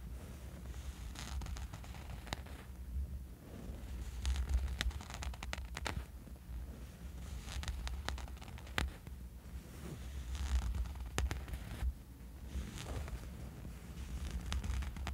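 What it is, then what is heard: Fabric sleep eye mask. A small dark fabric sleep eye mask lies on a bed sheet and is scratched with the short fingernails of both hands. The result is soft, continuous rustling and scratching with many quick, brief strokes. A low rumble sits underneath.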